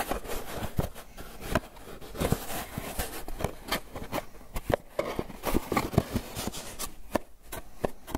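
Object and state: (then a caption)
Styrofoam takeout container. A small white styrofoam clamshell takeout container, hollow and closed, is held in the hands while fingertips and nails scratch, rub and tap its lid and sides. Soft, dry scraping and rubbing are broken by short, hollow taps that die away almost instantly, with most of the sound sitting low.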